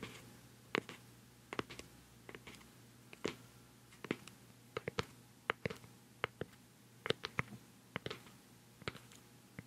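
A round, white, palm-sized, hollow plastic cosmetic pad jar with a black screw lid is held close to the microphone and tapped on the lid with long nails and fingertips. The result is an irregular series of quiet, sharp, hollow plastic clicks with bright tops and almost no ring, over a faint steady low hum.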